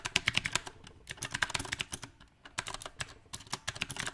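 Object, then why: Mechanical keyboard with round plastic keycaps. Both hands type rapidly with their fingertips on a compact, backlit mechanical keyboard with round plastic typewriter-style keycaps. The result is a fast, uneven stream of short, bright, clacky keystrokes with a brief lull in the middle. Each click is crisp and dies away almost instantly, with little low-end weight.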